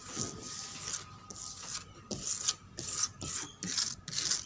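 Fingernails scratch back and forth across the flat, solid top of a reddish-brown painted wooden table whose paint is cracked and dusty. The result is a series of dry, bright, hissy scraping strokes, steady at first and then breaking into shorter separate rubs.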